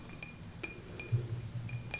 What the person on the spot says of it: kind of makes that sound when you use a spoon stir up a drink that has ice in it